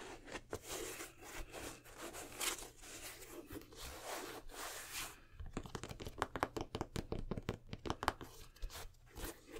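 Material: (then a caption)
Suede. An empty black nubuck/suede sneaker with purple and red accents and a rubber sole is held in both hands while fingertips and nails rub, scratch and tap its suede upper and sole. The first half is a dense, bright, crinkly scratching and rubbing, then it shifts to a quick run of short, dry taps. A faint low hum stays underneath throughout.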